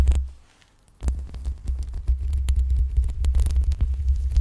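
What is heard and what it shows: Long pink acrylic nails scratch the sides and top of the hollow metal mesh grille on a black USB microphone. A heavy, low throbbing rumble mixes with dense, irregular scratchy crackles and bright clicks. The sound fades almost to silence for a moment before the scratching resumes steadily.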